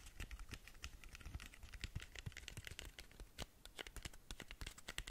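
Long nails tap rapidly on the textured glitter side of a long, narrow cardboard lip gloss box, which has been turned onto that side. The result is a quick, uneven stream of short, dry clicks with bright scratchy tops and soft low thuds. Each tap dies away almost instantly.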